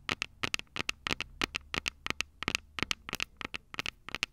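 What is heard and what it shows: Long purple nails tap and scratch the two silver metal mic capsules on the plastic body of a Tascam DR-05 handheld recorder. About 23 sharp, dry clicks land in quick pairs and clusters with short quiet gaps between them. Each one is bright and crisp, with almost no low end and no ring after it.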